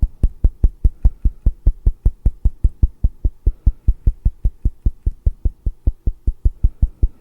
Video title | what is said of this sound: 성형유무?ˀ 궁금해요?ˀ | 실제로 제가 이마를 두들겨 보면은 이렇게 뼈 소리가 나.